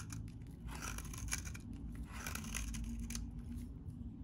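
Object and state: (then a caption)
Very dry bar soap being shaved. A metal utility blade shaves crumbly curls from a solid, hand-sized, beige-tan bar of very dry vintage soap. The sound is a steady run of dry, crisp scraping and crumbling with bright crackly bursts over a low, constant rumble.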